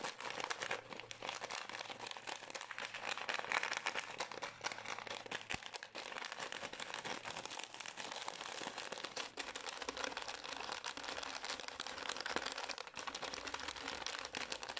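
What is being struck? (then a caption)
Small plastic pouch. A small green and white Pür gum resealable plastic pouch is squeezed, crinkled and scratched with long nails, then handled on the table. Dense, bright crinkling and scratching runs steadily throughout with little low end. The crackles are short and dry.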